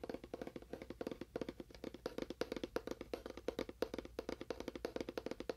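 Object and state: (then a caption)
Hollow cardboard box. A small, hollow, labelled cardboard box with a faux wood finish and a lid is tapped quickly with fingernails on its end and side. The taps come in a rapid, steady stream of short, dry clicks with a hollow, woody tone around 470 Hz, each dying away almost instantly.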